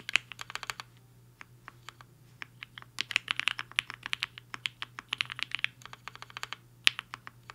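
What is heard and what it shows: Fingertips of both hands type fast on a compact HI-FINGER 7.5 mechanical keyboard with a black case and white and pink plastic keycaps, resting on a desk mat. Rapid, uneven streams of short, bright plastic clacks are heard, centred around 2.7 kHz, each dying away almost instantly. A faint steady low hum sits underneath.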